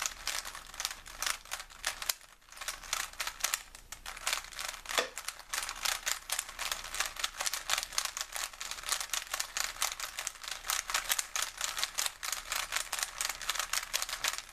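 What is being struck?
Plastic puzzle cube.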